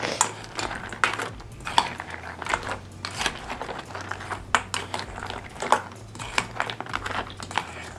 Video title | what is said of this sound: InnovAsian General Tso's Chicken - FINALLY a Good FROZEN Chinese Food?? - The Wolfe Pit | you can hear how crunchy they are